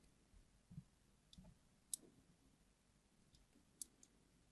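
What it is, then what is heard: Glycerin soap bar being scored. A craft knife's blade tip scratches and scores lines into the surface of a solid, yellow, translucent, hard glycerin soap bar, palm-sized and held in one hand. Five short, sharp, bright clicks and scrapes stand out over a very quiet, low background hush, each one dying away almost instantly.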